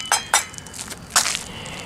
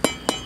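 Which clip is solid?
The first.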